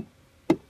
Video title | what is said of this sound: Live Oak Consultation Halsey | more solid on this side there's some active tissue over here